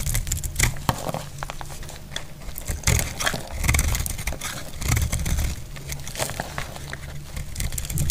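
A metal blade carves and shaves a dry, solid red soap bar held in the hand, producing a steady run of dry, crackly scraping and crinkling strokes. Brief bright snaps sit over a constant low rumble, with slightly louder passes near 3, 4 and 5 seconds.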